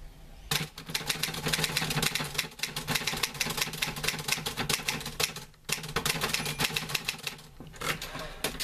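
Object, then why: Metal manual typewriter. Fingertips type on the keys of a green-grey metal portable manual typewriter with paper loaded. A fast, steady run of bright, sharp key clacks fills the clip, with a brief pause partway through before the typing resumes. A faint low hum sits underneath throughout.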